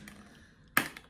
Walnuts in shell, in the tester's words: आवाज से पता चलता है यह काफी है अच्छा